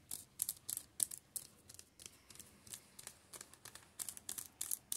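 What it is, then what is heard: Shrink-wrapped paperback books. Fingertips scratch and tap across the plastic-covered spines of a row of shrink-wrapped paperback manga volumes on a table. The result is quick, irregular bursts of quiet, bright, crinkly plastic scratching and tapping, with almost no low end and no ring after each touch.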